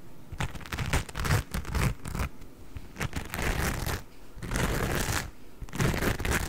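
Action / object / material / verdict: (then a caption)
scrape / cellulose kitchen sponge with scouring pad / cellulose / none. A hand-sized, porous yellow cellulose kitchen sponge with a green scouring pad is held close and scratched and squeezed with fingertips and nails. The result is a dense run of dry, crackly scratching and crinkling bursts with a low, muffled thump underneath. A few short pauses break up the sound.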